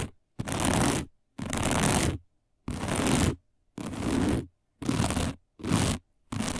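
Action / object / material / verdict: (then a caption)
scrape / coiled woven fiber placemat / woven fiber / none. Long nails of both hands scratch fast and hard across a round, dark, coiled woven fiber placemat. About seven rough, broadband scratching bursts, heavy in the low end, are separated by brief silences.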